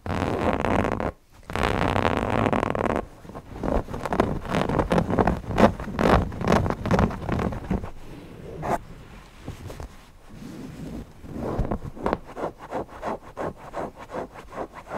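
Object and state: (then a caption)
Cotton fabric owl cushion being scratched. Fingertips of both hands scratch and rub the fabric eyes of a stuffed cotton owl cushion. A dense, steady scratching runs for about three seconds, broken by a brief pause, then gives way to quicker, uneven strokes. The texture is soft and muffled, with most energy in the low and middle range.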